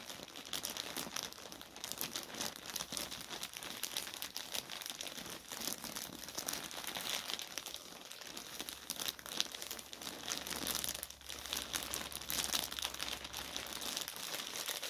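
Both hands grip, crumple and rub a thin white polyethylene mailer bag, torn open at the top with a dark item inside. A steady stream of dense, bright, crisp crinkling runs for the whole clip with little low end. The level stays fairly quiet and even, with small swells where the plastic is squeezed harder.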